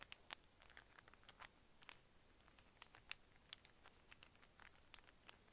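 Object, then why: Small wooden cube puzzle. Fingernails tap and scratch a small solid wooden cube snake puzzle of brown and white cubes, folded into a cluster and held in both hands. Quiet, crisp, bright clicks and faint scratching patter come in an irregular stream over a soft hiss, each tap dying away almost instantly with little low-end weight.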